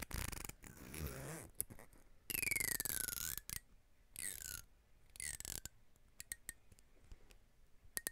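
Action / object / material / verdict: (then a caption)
scrape / plastic comb / plastic / none. Fingertips with long nails run along and scratch the teeth of a long, fine-toothed black plastic comb that is solid and thin. Bursts of bright, raspy scraping, some with falling whistle-like sweeps, alternate with short, sharp ticks and clicks from the teeth.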